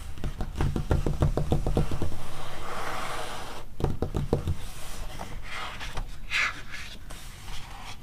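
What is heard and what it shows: Long red-painted nails on ringed fingers scratch and rub the glossy printed pages of an open softcover paper animal magazine lying on a fluffy rug, and a page is turned. Quick, uneven bursts of dull, low-heavy scratching and tapping come first, followed by a softer papery rustle and a brief brighter swish as the page moves.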